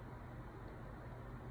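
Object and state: Nothing is struck.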